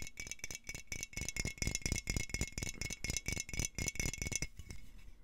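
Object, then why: Glass jar with metal screw lid. A medium, hollow, clear glass jar with a metal screw lid is held upright in both hands close to the mic and shaken and turned, producing a strong rattle. Quick, uneven bursts of clattering follow one another, each pairing a bright, high metallic jangle with a low thump, over a steady faint ring near 2 kHz.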